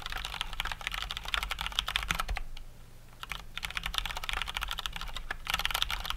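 Both hands type with their fingertips on a full-size COX Dauntless mechanical keyboard with Cherry MX Brown switches and plastic keycaps. A rapid stream of sharp, bright clicks and clacks runs under a low steady hum. There is a brief pause near the middle before the typing resumes.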